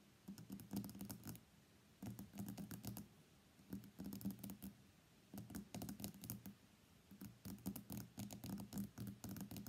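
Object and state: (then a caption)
Glass phone back tapped. Fingertips and nails tap rapidly on the white glass back of an iPhone X lying face down on a mat. The sound comes as quick bursts of light, clicky taps, each burst lasting about a second, separated by short quiet pauses. The taps are dry with a low, soft body and almost no ring.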